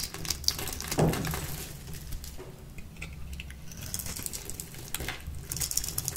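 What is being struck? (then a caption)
Bar soap. A light green bar of dry solid soap held in the palm is cut and shaved with a small metal blade with a purple handle. A run of quick, dry, crisp scraping and crumbling clicks with bright, high flecks over a low rumble. A sharper crack is heard near the start.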